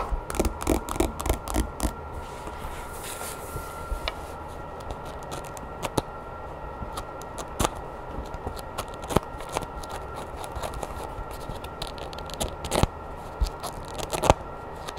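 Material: Paper.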